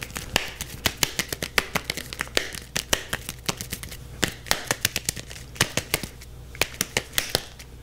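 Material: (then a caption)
Leather. A yellow softball with a stitched leather cover, solid and hand-sized and held in both hands, is scratched and tapped quickly with the fingertips and nails. The result is a fast, irregular stream of sharp, dry, bright clicks and taps with almost no ring, over a soft scratchy rustle and a faint steady low hum.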